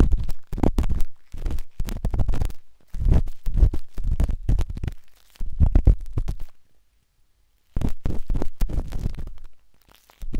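A metal-tipped dot stick with a wooden handle scratches inside the soft, hollow canal of a pinkish-white silicone binaural microphone ear. The sound is a run of close, muffled, deep rumbling scrapes and taps, almost all low in pitch. They come in dense clusters, with a silent gap of about a second before they resume.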